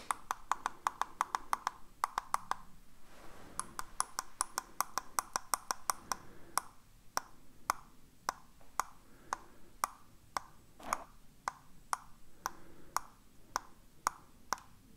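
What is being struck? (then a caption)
Plastic computer mouse. A hollow black plastic computer mouse, held in one hand, is tapped with the fingers, giving dry, hollow clicks centered around 1.2 kHz that die away almost instantly. The taps start in quick, rapid runs for the first six seconds, then settle into a slower, steady rhythm of single knocks over a faint background hiss.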